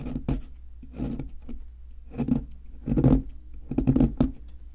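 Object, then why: Plaster block scraped with a metal chisel. A wooden-handled metal chisel scrapes and chips at a solid white plaster fossil excavation block. Irregular bursts of gritty, rasping scraping come and go, some with short sharp chips, over a faint low steady hum.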